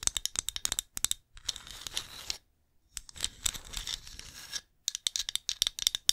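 Long nails tap and scratch the glazed surface of a small, hollow, painted ceramic pumpkin ornament held in one hand. Quick bright clicking taps alternate with stretches of dry, raspy scratching, separated by brief silences. Every sound is high and thin and stops dead, with no ring.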